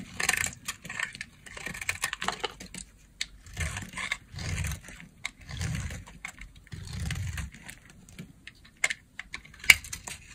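A utility knife blade cuts into the remaining piece of a solid lilac dry soap bar held in the hand. The result is a series of dry, bright crunching and scraping bursts, some with a soft low rumble underneath, and a few sharp clicks near the end.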